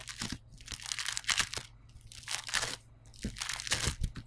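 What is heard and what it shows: Fingertips with short nails press, poke and scratch across yellow polystyrene bead foam clay pressed flat on a table. Dense, bright, crunchy crackling comes in three irregular bursts separated by brief quieter gaps, with sharp snaps inside each burst that die away almost instantly.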